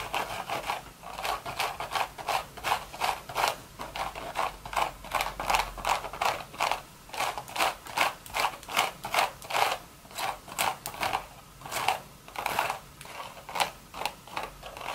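Long red nails rub and scratch the woven surface of a beige straw hat with a hollow crown. The result is a quick, uneven run of dry, raspy scratching strokes, about two to three per second, with a midrange rasp near 760 Hz and a bright, hissy edge. Each stroke dies away almost at once.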